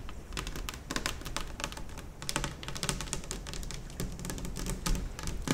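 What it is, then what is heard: Laminate table top tapped with fingernails. Long fingernails on both hands tap rapidly across a large, solid, white glossy laminate kitchen table top. The result is a dense, uneven patter of short, bright clicks that die away almost instantly, over a steady low rumble.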